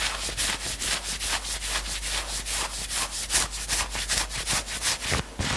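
Fingertips and nails scratch the upper arm sleeve of a worn knit sweatshirt in fast, steady back-and-forth strokes. Each stroke is a bright, hissy rasp of fabric, coming at roughly two and a half per second over a faint constant low hum.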